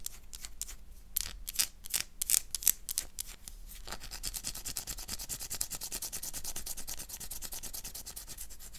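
A solid oval black bar of soap is scraped and scratched with fingernails, shaving off soap. For the first four seconds, quick, separate, bright scratching strokes are heard. After that they blend into a steady, fast, bright scraping with a hiss.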